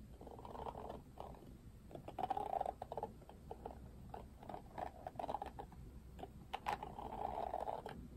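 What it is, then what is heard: Plastic hairbrush bristles. Fingertips strum and scratch the pink-tipped plastic bristles of an oval plastic paddle detangling hairbrush with a black cushion. Soft, raspy scratching swells in bursts, punctuated by quick, bright plucking ticks as the bristles flick back. The sound stays quiet and close over a faint low hum.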